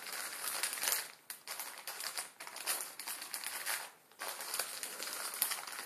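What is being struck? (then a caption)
Plastic-film instant noodle packet. Fingertips scratch and rub a full Maruchan instant ramen packet, its plastic film holding the noodles, lying flat on a wooden table. Bright, crackly crinkling and scratching come in continuous bursts, with brief near-silent pauses between strokes.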